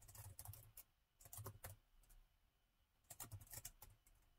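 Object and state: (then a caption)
Plastic laptop keyboard being typed on. Fingertips of both hands type rapidly on a plastic laptop keyboard set in a gold metal chassis. Quick, dry key taps with bright clicks and soft low thumps come in two bursts, separated by a quieter pause in the middle.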